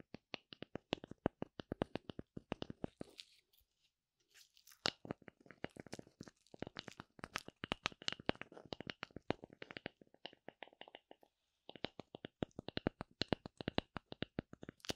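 Long nails scratch the surface of a thin, solid oval slice of light wood with a bark edge, held close to the microphone. The result is a rapid series of short, dry, crunchy scratching strokes with no ring, broken by a brief pause near the four-second mark and another before the twelve-second mark.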